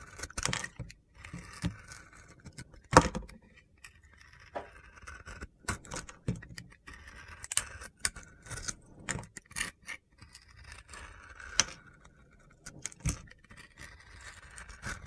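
A metal box-cutter blade scrapes and slices the glitter layer off a solid pink-blue glitter soap bar with star sequins held in the hand, revealing the white soap beneath. Short, crisp, gritty scraping and crunchy cuts come in repeated bursts with quiet gaps between them.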